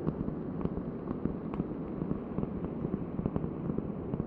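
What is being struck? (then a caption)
Round cork board. Long nails tap rapidly on a large, thin, solid round cork board held close to the microphone. Each tap is a soft, dull, short thud centered low, with no bright top and very little ring. The taps run in a steady, quick, uneven patter over a faint crackly texture.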